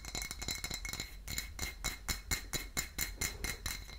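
A full dark glass wine bottle is tapped and scratched with long nails on its label, neck and glass. Quick, bright clinking taps with a short, high ring come at an uneven pace, with a dry scratching rustle between them.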